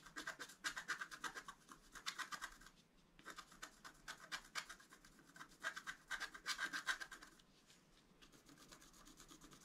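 A wooden stylus scratches the black coating off a flat, thin, solid scratch art card around a deer head. It makes quick, dry, bright rasping strokes in fast repeated bursts, with short pauses between rounds. The final stretch is quieter.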